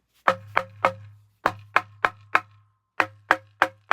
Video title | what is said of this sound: 1930’s Rain King Model D Restoration- Wood Checking Versus Splitting. | It's solid, and you could hear it when you knock on it.